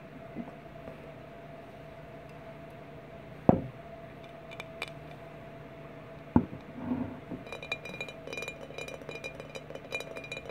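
Glass bottles are tapped with no talking: a few quiet clicks, then two sharp, bright clinks stand out over a faint steady hum. After that comes a brief rattling clink, then a run of quick, lighter taps that continue to the end.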